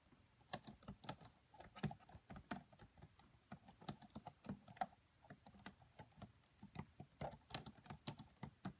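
Fingertips with medium-length nails type on the black plastic keys of a red laptop keyboard. Quiet, crisp, bright key clicks come in an uneven, steady stream, each very short with a faint low thump beneath.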